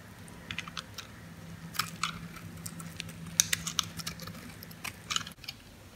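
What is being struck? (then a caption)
Bar of soap cut with a metal blade. A metal blade scores and scrapes crunchy cubes off a dry, solid green bar of soap held in the palm. The result is a scattered series of short, bright crunching clicks and light scrapes over a faint steady low hum, which cuts out near the end.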